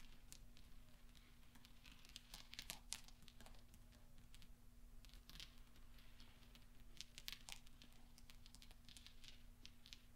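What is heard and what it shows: Fingertips sweep and flick small solid steel pachinko balls across velvet so they knock together, making quiet, bright metallic clicks and ticks scattered through the clip. Soft rustling fills the gaps over a steady low hum.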